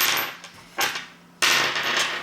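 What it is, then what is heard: Die-cast metal toy piece. The die-cast metal Matrix of Leadership accessory, the only die-cast part of a Hasbro Masterpiece Optimus Prime 2.0 toy figure, is dropped onto a table. It makes three bright, high-pitched metallic clinks, each ringing briefly before fading. The ringing tone confirms the piece is die-cast metal.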